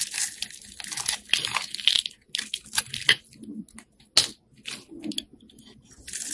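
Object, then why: Bar of soap scraped with a knife blade. A utility knife blade scores and scrapes the surface of a solid, partly carved orange-red bar of soap held in the hand, cutting it into crumbly flakes. The audio is a string of dry, crisp scraping and crunching strokes, bright and high with almost no low end. Each stroke stops short, with quiet gaps between bursts.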